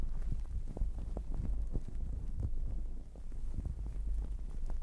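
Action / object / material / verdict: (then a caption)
scrape / fluffy fabric towel over a microphone / fabric / none. A fluffy, sparkly fabric towel wrapped over a microphone is scratched with long acrylic nails and rubbed and squeezed with fingertips throughout. The result is a dense, muffled, low rumbling rustle with soft thuds, sitting almost entirely in the low end with almost no bright content. There is a brief dip in level just after the three-second mark.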